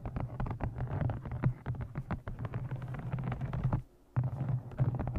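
A thick brown embossed leather journal set with a blue stone is held in front of the microphone and tapped on its cover and edges with long nails. The result is a quick, dense run of soft, dull taps with a low, thumping body and almost no high end, pausing briefly near the end before the tapping resumes.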